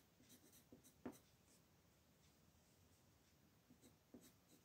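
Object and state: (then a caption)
Paper coloring book page. A colored pencil makes small coloring strokes on a flat paper coloring book page resting on a table, with one hand holding the page flat. Quiet, soft scratchy strokes come in brief bursts, with one sharper tick near the one-second mark and a few light strokes toward the end.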